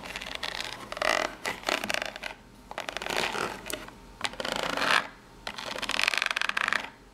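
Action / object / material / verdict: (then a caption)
scrape / corrugated cardboard box / cardboard / none. Long nails tap and scratch the ribbed side and top edge of a small corrugated cardboard box. The result is dry, bright rasping bursts with quick ticking taps, separated by short quiet pauses.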